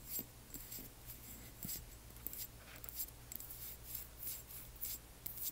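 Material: Glass.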